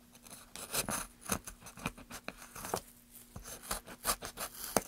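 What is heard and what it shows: A gloved hand scrapes and cuts the surface of a solid pine softwood plank with rounded ridges using a small carving blade. A quick series of short, dry scraping and shaving strokes is heard, each with a bright, rasping hiss that stops almost at once. A faint steady low hum sits underneath.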